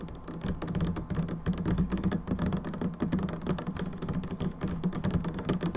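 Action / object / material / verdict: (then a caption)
tap / plastic hand soap bottle / plastic / none. Long nails of both hands tap rapidly on the narrow side of a plastic hand soap bottle. The result is a dense, continuous patter of short, dull clicks with a low hollow tone near 188 Hz, and each tap dies away almost at once.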